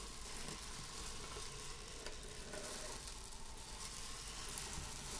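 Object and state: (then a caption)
Buckwheat groats. Long acrylic nails scratch and rake through a small heap of dry buckwheat grains spread loose on a wooden table. A steady, quiet, sizzling rustle of crackling grains runs throughout, with bright hiss over a low, muffled rumble.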